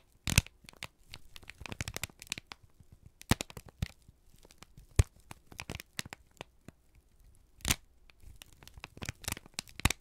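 A single thin, crumpled sheet of brown kraft paper is held in both hands and squeezed and crinkled with the fingertips and thumbs. Irregular bursts of dry crackling and tearing-like crinkles come in quick clusters separated by quiet gaps. Each snap is short and bright, with no ring.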